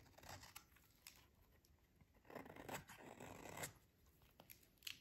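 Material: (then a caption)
Soap. A short metal utility blade shaves a solid, hand-sized bar of dry pink soap held in one hand, scraping off thin, crunchy curls that fall onto the table. Dry, bright scratching strokes crackle throughout, with a longer and louder scraping pass in the middle. A few sharp, crisp snaps follow near the end.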